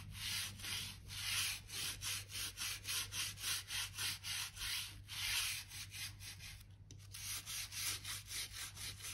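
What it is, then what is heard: Wooden floorboards being brushed. A narrow crevice brush sweeps and scratches across old wooden floor planks, brushing dirt and dust from the surface and the gaps between them. The result is a rhythmic series of bright, scratchy strokes, with a steady low hum underneath.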